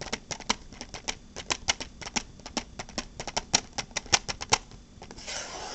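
Long black-painted fingernails tap a small transparent hard plastic case with a red insert, producing around two dozen quick, sharp, bright clicks at an irregular pace. The taps are followed by a brief, softer continuous rustle.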